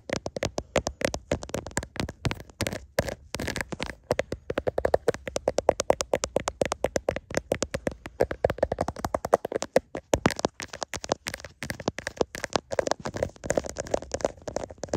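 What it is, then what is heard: Smartphone in plastic case, tapped and scratched. Fingertips and nails tap and scratch the back and camera area of a hand-sized smartphone in a clear plastic case, held up in both hands while the phone itself records. Dense, rapid, dry plastic clicks with almost no ring come in uneven bursts across the whole clip, centered in the midrange around 550 Hz, with soft scratching rustle between the taps.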